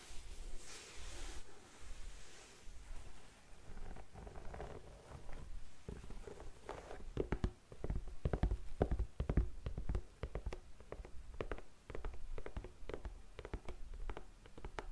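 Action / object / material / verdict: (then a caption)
tap / empty suede boot with rubber sole / suede / none. Long nails tap and scratch on an empty black suede boot, working over the suede and the rubber edge of the sole. Soft, muffled scratching at first gives way to a quick run of sharp, dull taps with a heavy low thump and little high ring.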